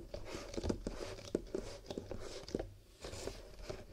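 Fingertips tap and rub the rolled rims and walls of a row of empty paper/cardboard cups, nested loosely into a long, hollow horizontal stack held on a table. About ten dry, hollow taps with a papery midrange tone sound over a steady crinkly rubbing, each dying away at once with no ring.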